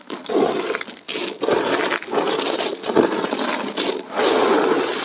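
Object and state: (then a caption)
Dried soap chips being crushed. Bare hands and fingertips press, crush and rub a large heap of thin, brittle, multicolored dried soap plate shards against each other, lifting some and dropping them back into the pile. The sound is a steady, dense crackling and crunching with bright, crisp texture, broken by brief pauses as the hands shift and dig back in.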